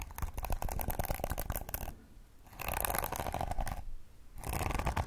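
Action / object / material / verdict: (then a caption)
scrape / plastic hairbrush bristles strummed with fingernails / plastic / none. Long acrylic nails strum and scratch the flexible plastic bristles of a pink plastic detangling brush held bristles-up close to the mic. Three bursts of rapid, dense clicking and scratching are separated by two short, quiet pauses. The sound is close and heavy in the low end, with a crackly texture.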